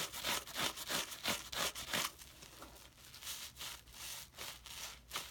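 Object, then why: Soapy wet cellulose sponge. A hand-sized rectangular yellow cellulose sponge, porous and soaked with soapy water, is held in one hand over a foamy white sink while the other hand's fingertips and nails rub and squeeze the lather across its surface. Bright, wet, squishy crackling comes in rapid, fairly regular strokes, loud at first and then settling into a softer, steadier rubbing before a final louder burst.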